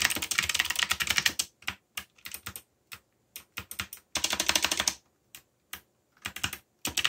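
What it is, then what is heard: Mechanical keyboard with plastic keycaps. Fingertips type rapidly on a backlit mechanical keyboard with black plastic keycaps and a yellow backlight. Bright, clicky keystrokes come in dense, fast runs broken by pauses and scattered single taps, each click dying away almost instantly.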